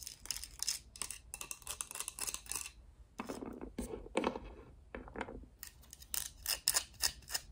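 Long acrylic nails scratch and tap along a hand-sized, mostly hollow, pink and purple hard plastic Littlest Pet Shop cat-tree playset, held in hand with a small figure perched on it. Bright, crisp scratching bursts alternate with quick plastic taps, and a middle stretch turns duller and more hollow-sounding before the bright scratching returns.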